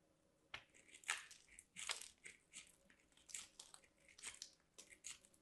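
A white solid soap bar, held by hands with long black nails, is scraped along a small metal box grater. Quiet, crunchy grating strokes come in an irregular series of short, bright, scratchy bursts with almost no low end. Each stroke dies away quickly.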